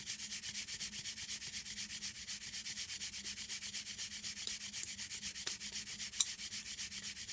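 Long green acrylic nails scratch and rub the front of a flat printed paperboard chocolate box, making a steady, rapid, bright rasping sound at about four strokes per second. A few sharp clicks stand out near the end, and a faint low hum runs underneath.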